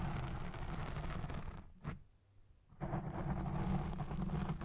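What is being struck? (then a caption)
Foam microphone windscreen. Long red nails scratch the side of a black foam windscreen on a recording Blue Yeti Pro microphone, making a dense, muffled, low rumbling scrape. The scratching drops out for about a second with one brief scrape in the gap, then resumes just as loud.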